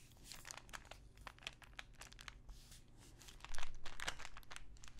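Long nails scratch and tap a small clear plastic pill bottle full of pills with a paper label. Soft, irregular crinkly scratches and bright clicking taps sit over a faint low hum. The sound grows louder and busier for the last second and a half.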